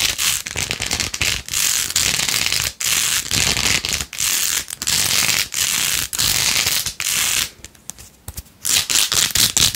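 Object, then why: Plastic phone case with plastic faux-pearl beads. Long nails scratch fast across the pink faux-pearl beads of a rose-gold plastic phone case held in one hand. The result is a dense, bright, crackling scratch sound that comes in steady bursts with brief pauses. A quieter stretch near the end gives way to more scratching.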